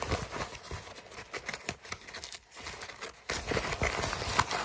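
An empty brown kraft paper mailer bag is crumpled and crinkled with the fingers. It makes dense, irregular, bright crackling bursts that briefly quiet near the middle, then come back louder and fuller for the last stretch.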